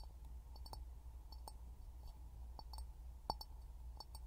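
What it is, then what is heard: Glass jar. An empty, hollow clear glass jar is held upside down in both hands over a pin mic and tapped with fingertips and short nails. The result is quiet, short, glassy clicks and clinks with a ringing tone near 860 Hz and faint bright overtones, over a steady low hum.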